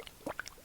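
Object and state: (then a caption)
Runny water-based liquid foundation. A bottle of Make Up For Ever Water Blend water-based liquid foundation is shaken, giving five quick, light sloshing splashes. The thin, wet sound shows how runny and liquid the foundation is.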